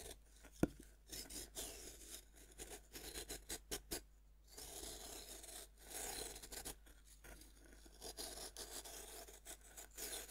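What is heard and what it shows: A fist-sized, solid pink pressed-powder bath bomb rests on a wooden board, held by one hand. A metal knife tip scrapes and scratches across it, making dry, bright, raspy scraping bursts with a sharp tick near the start. Powder crumbles off as it is scraped.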